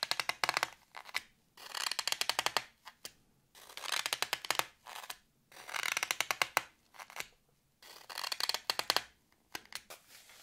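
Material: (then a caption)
Floral foam. Fingertips and nails scratch the top surface of a solid green floral foam block with carved letters, held in hand. The result is a dry, bright, crackly scratching made of rapid little clicks, coming in repeated short bursts separated by brief quiet gaps.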